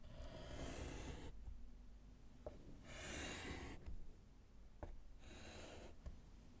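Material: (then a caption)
Slate. A gloved hand writes letters with a short orange chalk piece on a small, flat, solid wood-framed slate chalkboard. Three bright, rasping bursts of chalk scratching across the slate are separated by quieter pauses with faint taps. A low rumble sits underneath throughout.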